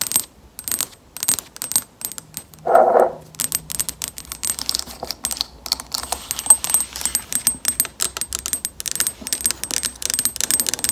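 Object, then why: Plastic lotion bottle. Long acrylic nails tap and scratch a hollow, medium-sized white and pale pink plastic lotion bottle with a large letter label, held close. Rapid, bright, clicky taps and scraping run throughout, with a brief louder mid-range swish near three seconds. A faint low hum sits underneath for most of the rest of the clip.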